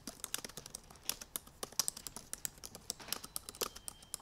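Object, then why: Laptop keyboard, plastic keys in aluminum body. Rapid typing with both hands and long painted nails on the black plastic keys of a silver aluminum MacBook Pro laptop keyboard. A fast, uneven stream of sharp, bright clicks and taps dies away almost instantly, with very little low end.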